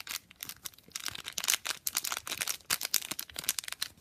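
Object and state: Foil condom wrapper being crinkled.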